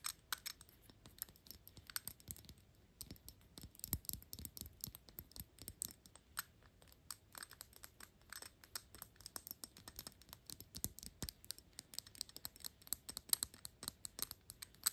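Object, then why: Small metal perfume bottle cap. Long pink nails tap fast on the small, hollow, shiny gold-tone metal cap with a horsebit ring on a Gucci perfume bottle. The result is a quiet, continuous stream of dry, bright clicks that stop instantly with no ring, over a faint low rumble.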